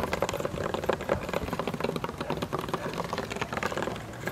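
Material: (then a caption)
Wood. Both hands tap and drum with fingertips and nails on the weathered, slatted top of a small, old, stool-sized wooden table outdoors; the top is solid and flat. A steady run of quick, dry knocks and clicky nail taps follows, with a hollow mid tone around 520 Hz. Each hit dies almost instantly, without ringing.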